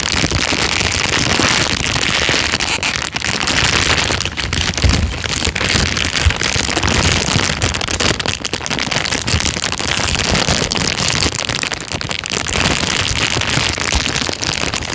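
A thin, empty, transparent plastic bag is crumpled by hand and rubbed between the fingers. It makes a steady, dense crinkling and crackling that runs the whole time, bright and hissy, with a faint low rumble underneath.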